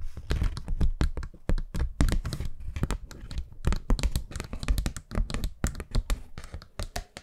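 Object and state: Paper hand fan.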